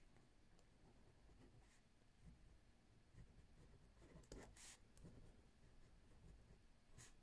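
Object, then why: Pen writing on a paper notebook. A left hand with green-painted nails writes with a ballpoint pen on a lined paper notebook pad resting on a wooden table. The pen gives a quiet, continuous soft scratching, with a few brighter, sharper strokes standing out, especially in the middle and near the end.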